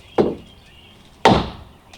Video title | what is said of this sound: 328 Finishing the repairs to my Deck | When I hear that real solid thump, I know that's tight.